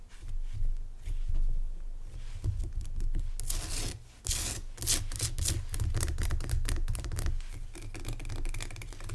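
Fingertips and nails rub and scratch the sides of a lit rock salt lamp, a solid crystal block, in a dark room. Dry, bright scratching strokes and rasps come in quick bursts over a steady low hum. The scratching grows denser and louder after the first few seconds, with a brief dip before it resumes.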